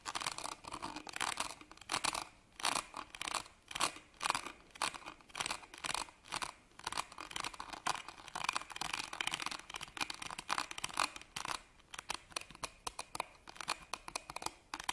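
A small embroidered fabric purse is held upright while the fingernails of both hands scratch its ribbed metal clasp frame. The result is a dense run of quick, dry, bright scratching strokes with a raspy metallic edge and almost no low end, each one cutting off at once.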